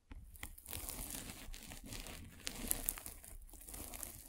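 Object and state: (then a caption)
Polyethylene foam mesh net. A metal-spiked derma roller is rolled across a white polyethylene foam mesh net stretched over a microphone. This makes a steady, quiet crinkling and crackling rustle, with bright, sharp little snaps popping up throughout.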